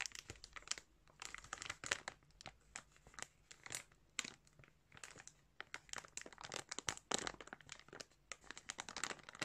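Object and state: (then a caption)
Plastic bag of yarn. Fingertips squeeze and crinkle a thin clear plastic bag filled with soft balls of colored yarn. Dense, bright crinkling and crackling come in quick, uneven bursts with short pauses between them. The sound is quiet throughout, with almost no low end.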